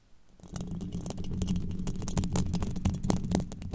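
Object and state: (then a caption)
Metal microphone grille. Very long pointed black nails scratch and tap the hollow, domed steel mesh grille of a microphone. After a quiet start, a dense, low, rumbling scrape builds within the first half second, with a quick, irregular run of sharp bright clicks and ticks riding on top until the end.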